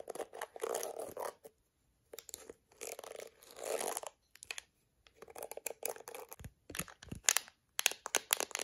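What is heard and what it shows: A hollow-backed plastic detangling hairbrush with a yellow back and dense black plastic bristles is held over a brown blanket. Long red acrylic nails scratch across the bristles in raspy, bright bursts and tap the plastic rim in sharp clicks, with short silent gaps between passes.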